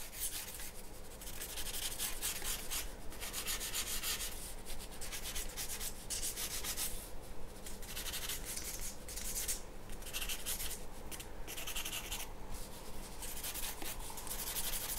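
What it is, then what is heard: Pencil drawing on paper. A graphite pencil tip scratches and rubs across a large flat sheet of white drawing paper lying on a wooden table. Bright, papery strokes come in steady bursts with short pauses between them, over a constant low hum. The texture stays soft and even throughout, with no ringing after each stroke.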